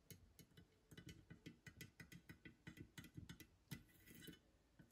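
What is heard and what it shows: Long green nails tap on the metal top of a small old chrome-plated metal hole punch with a black base, resting on a wooden surface. About twenty quick, quiet taps come in an irregular rhythm, each a dull low knock with a bright, crisp click on top. Each tap dies away almost at once.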